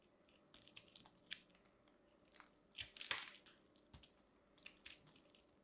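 A metal craft knife carves and scrapes a small orange and white ball of compressed soap shavings, solid and crumbly and held in the hand, cutting off crunchy flakes. Quiet, bright crunching and scraping come in short bursts with no low-end weight, and the loudest, densest run of crunches falls near the middle of the clip.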